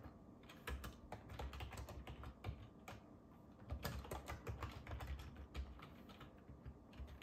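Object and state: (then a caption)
Plastic computer keyboard being typed on. Both hands type on a black ergonomic keyboard with a hollow plastic body resting on a wooden desk, fingertips tapping the keys throughout. A steady, quiet stream of short, dull clicks and taps with a soft low thump, each hit dying away almost at once.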